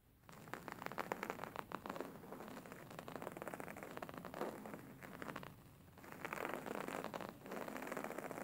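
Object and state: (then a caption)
Embroidered linen pillow. Fingernails scratch and fingertips tap on a stuffed, beige embroidered linen pillow lying flat, its stitched fabric surface giving off dense, crackly rustling scratches. The busy scraping comes in bursts, with a quieter stretch just before the sixth second before the scratching picks up again.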